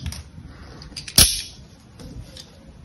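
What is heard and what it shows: A utility-knife blade carves into a palm-sized solid bar of soap with a gold patterned coating, held in one hand, scraping off thin curls. Faint scratchy scrapes lead up to one sharp, bright, crisp cut that fades quickly, followed by a few softer scraping touches.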